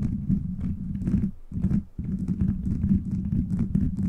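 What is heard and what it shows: Fingers rapidly scratch and tap a beaded plastic gummy-bear cover on a microphone, producing a dense, low, rumbling texture of soft clicks centered around 200 Hz. The scratching runs nearly continuously, with brief dips near 1.4 and 1.9 seconds before resuming.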